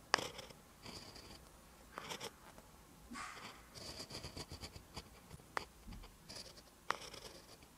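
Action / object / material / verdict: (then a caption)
scrape / pen tip on lined notebook paper / paper / none. A pen held by the fingertips writes Korean text in green ink on a lined paper notebook page, its tip scratching along the paper. Soft, bright scratchy strokes come in short bursts, separated by a few sharper little ticks as the pen touches down.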